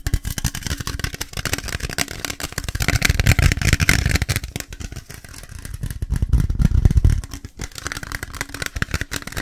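An aluminium Monster Energy drink can is tapped fast and aggressively. The result is a rapid, uneven clatter of short, dry taps with a heavy low thump and bright clicky edges. It swells louder around the middle and again near the end.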